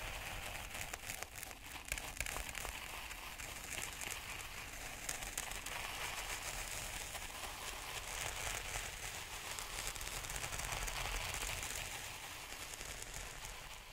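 Wooden stick tips held in gloved hands poke repeatedly into fine, black speckled sand or grit in a white plastic tray. The result is a steady, dense gritty crackle and crinkle, mostly bright and hissy, with soft scratchy grains running together for the whole clip at an even, moderate level.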